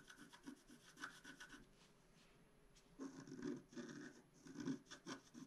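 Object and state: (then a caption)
Scratch-art card being scraped. A wooden stylus scrapes across a flat black-coated scratch-art card in short, rapid rasping strokes. The scratching is soft and dry, with a low-mid grainy tone and a faint bright hiss. It pauses briefly near the middle, then resumes in louder bursts.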